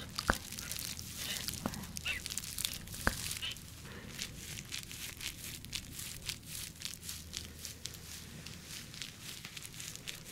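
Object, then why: Clear flexible plastic bubble-textured sleeve. An empty, clear, flexible plastic bubble-textured packaging sleeve, held in one hand, is scratched and squeezed with long nails. It makes dense, bright crinkling and rapid tapping scratches over a faint low hum, with a few sharper clicks near the start. The texture stays steady and close throughout.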